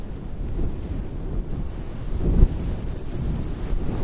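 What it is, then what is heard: Synthetic fur microphone windscreen being rubbed. Fingers with long nails rub and scratch a fluffy synthetic faux fur microphone windscreen cupped in both hands. The result is a steady, muffled low rumble with almost no high end, swelling briefly in the middle.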